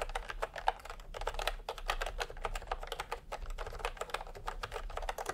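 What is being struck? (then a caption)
Plastic computer keyboard with round keycaps. Fingertips of both hands type in fast taps on a full-size plastic typewriter-style computer keyboard with round retro keycaps in peach and cream, lying on a white cloth. A steady run of short, dry clicks centered in the mids with some bright edges, each tap dying away almost instantly.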